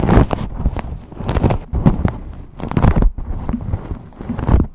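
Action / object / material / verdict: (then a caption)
scrape / fabric cover over a microphone / fabric / none. Long pink nails and fingertips scratch and rub green hexagon-pattern fabric wrapped over a microphone, close up. The result is dense, muffled, low-heavy scratching and crinkly rubbing in uneven bursts, with scattered sharp crackles and thumps.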